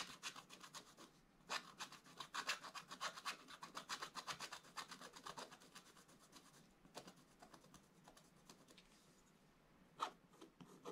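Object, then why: Coated scratch-art paper scraped with a wooden stylus. A wooden stylus scratches lines into the black coating of a scratch-art paper page lying in a flat book. Quick, irregular dry scraping strokes come fast and bright, densest in the first half. They thin to lighter scratches, with one sharper stroke near the end.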